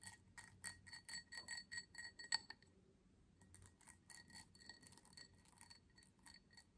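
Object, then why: Cut crystal tumbler. Long fingernails tap the base and sides of a small, empty cut crystal tumbler held up in the air, producing a rapid run of bright, high glassy clinks with almost no ring. The taps are loudest in the first couple of seconds, stop briefly, then continue more softly.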